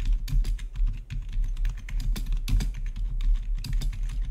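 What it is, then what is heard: Plastic membrane keyboard being typed on. Fingertips of both hands type rapidly on the keycaps of a full-size black plastic membrane-style gaming keyboard with blue-to-red RGB backlit keys. A quick, continuous stream of short, dull keystroke taps with brief bright clicks runs over a low, steady hum.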